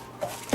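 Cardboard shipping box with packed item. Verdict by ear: Loose.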